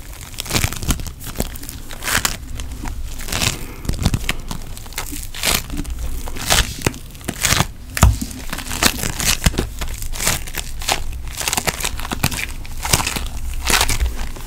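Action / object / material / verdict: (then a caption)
scrape / foam bead putty / foam beads / none. Pink foam bead putty is stretched and squeezed between fingers, its crunchy foam beads giving off a steady stream of dense crackling and crinkling pops. Sharp bright snaps rise over a soft, low rumbling base throughout.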